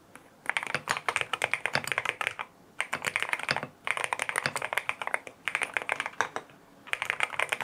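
Fingertips type on a lavender full-aluminum M1W mechanical keyboard with white plastic keycaps, a PC plate, foam filling and linear Strawberry Wine switches. Bursts of quick, crisp, bright keystrokes come in several runs separated by short pauses, each click dry and quickly damped.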